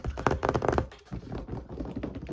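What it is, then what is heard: Book. Fingers tap quickly on a paper copy of Hobbes' Leviathan, producing a run of soft, dull, low-pitched thuds that stop almost instantly. The first second is denser and louder, then the taps continue more lightly.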